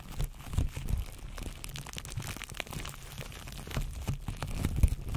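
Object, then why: Plastic cling film wrapped on a microphone. Fingertips pinch, scratch and crinkle clear plastic cling film wrapped around a microphone. The result is a dense, continuous crinkling texture with quick crackles and close, muffled low thumps that dominate the sound, with little high brightness.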